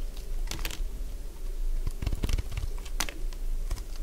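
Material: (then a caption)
Soap. A solid cream-coloured dry bar soap is scraped and shaved with a utility blade, giving crisp, dry crunching and scratching strokes with bright transient edges over a low, steady rumble. The cuts come in irregular bursts, dense through the middle of the clip and with sharp accents near the end.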